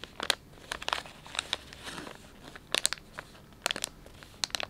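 Fingertips stretch and crinkle the soft plastic film of a filled, palm-sized Dettol wet wipes pouch while knuckles press into it. Sharp, bright crackles and crinkles come in quick clusters with short, quiet gaps between them, and there is almost no low end. Each crackle cuts off immediately, leaving the quiet crinkle of the film between bursts.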